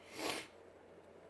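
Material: Nothing is struck.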